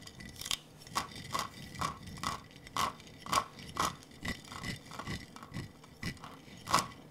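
A large clear glass jar with a metal screw lid, partly filled with small blue and clear glass marbles, is held in both hands, tilted and shaken so the marbles roll and clink against the glass. Irregular, bright clinks with a short ring around 1.1 kHz pop out over a soft, continuous rolling rattle.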